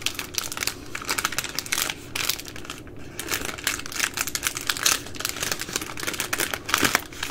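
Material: Plastic film.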